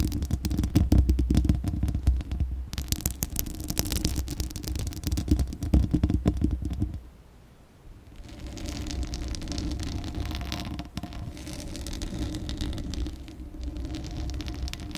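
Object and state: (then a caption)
Metal microphone grille scratched with nails. Long glittery acrylic nails scratch the bare, hollow metal mesh grille of a Blue Yeti microphone, producing a dense, rapid rasping with a heavy, boomy low rumble. The scratching briefly drops away near the middle, then resumes at a slightly softer, steadier level.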